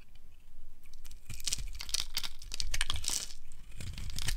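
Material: Soap.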